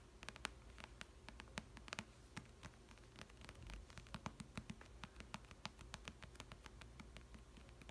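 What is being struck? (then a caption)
Paperback book with glossy card cover. Long red nails tap rapidly and irregularly on the glossy card front cover of a thick paperback novel (Twilight). The result is a quiet stream of sharp, dry, bright clicks with no ring, over a low steady hum.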